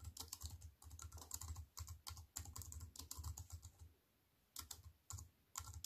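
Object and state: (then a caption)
Aluminium and plastic computer keyboard. Long white-painted nails and fingertips type on a slim wireless keyboard with a silver aluminium frame and black plastic chiclet keys, resting on a wooden table. Rapid runs of short, crisp clicks and taps with a low thud under each keystroke are broken by brief pauses, including a longer near-silent gap before the typing resumes in short bursts.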